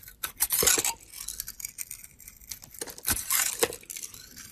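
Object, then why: Glitter-coated soap bar cut with a knife blade. A utility knife blade cuts and scrapes slices from the edge of a solid soap bar coated in gold glitter, held in the hand, exposing the pale soap inside. Bright, crisp crackling and scraping come in two louder bursts, near the start and again around three seconds, with quieter scratchy cuts in between and almost no low end.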